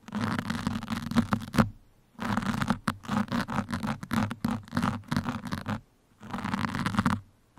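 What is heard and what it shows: Two metal pins scratch steadily along the sides of a black foam microphone windscreen, making a dry, crackly rasp with a low hum underneath. A long continuous scratch is followed by a pause, then a run of quick, choppy strokes, another pause and a final steady scratch.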